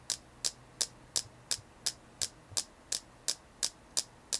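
Steady tapping on a selenite crystal, with thirteen short, bright clicks falling at an even pace of roughly three per second. Each tap is crisp and dies out almost instantly, over a faint low hum.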